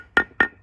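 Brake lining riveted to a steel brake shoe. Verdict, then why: Solid. A new brake lining riveted onto a heavy truck's steel brake shoe is tapped twice to test the rivets. Each tap gives a short, solid click with a brief ring near 1.8 kHz that dies away quickly. The lining sounds solidly riveted, not hollow.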